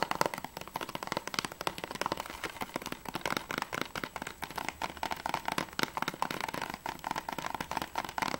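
Fingernails rapidly tap and scratch the clear plastic sleeve on the back cover of an Assassin's Creed III plastic PS3 game case. The result is a dense run of sharp, dry, bright clicks with a midrange tone and almost no low end. At the end the case is tilted.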